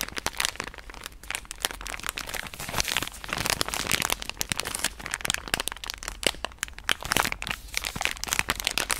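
A pink soft plastic wet-wipe pouch is held close to the microphone and scratched and tapped with long nails. It makes a dense run of bright, dry crinkles and sharp crackly taps that die away instantly, with very little low end, going steadily for the whole clip.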